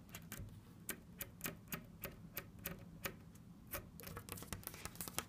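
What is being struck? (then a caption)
Painted wooden cabinet door. Long red nails tap and scratch on a hollow, orange-brown painted wooden cabinet door with Egyptian hieroglyphs and a small black knob. The result is a quick, uneven series of sharp, bright clicks that die away almost instantly, with faint scratching between taps over a low background rumble.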